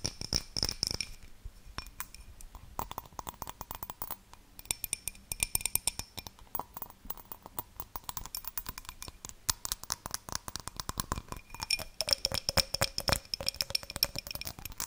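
An empty clear glass tumbler, a small hollow drinking glass held close, is tapped and scratched with long dark-painted nails. Quick, dry clicks and bright clinks come in dense bursts over rasping scratches, with faint high ringing tones and a lower hum that rises and falls. The sound stays quiet and crisp throughout, with very short decays.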